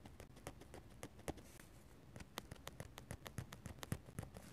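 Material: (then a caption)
Paper. A metal-nib dip pen makes rapid, irregular stippling taps and light scratches on a paper sketchbook page. The quiet, dry ticks are crisp and bright on top with a soft low thump, each dying away almost instantly over a faint hiss of paper.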